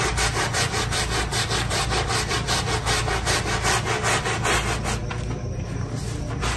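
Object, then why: Wet synthetic-fiber carpet scrubbed with a stiff brush. A gloved hand scrubs a small square of soapy, wet synthetic-fiber carpet resting on a tile floor with a handheld scrub brush, working it back and forth. The result is a steady, rhythmic run of rough, bristly rubbing strokes, about two to three per second, with a bright wet hiss over a low rumble that eases slightly near the end.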